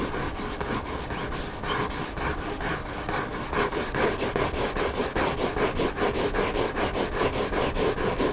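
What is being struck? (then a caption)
Hardcover book cover. Nails and fingertips scratch the white back cover of a hardcover book lying cover-up, making a steady, rhythmic rasping of quick back-and-forth strokes. The dry, papery scratching grows slightly louder and more even about halfway through and continues without pause to the end.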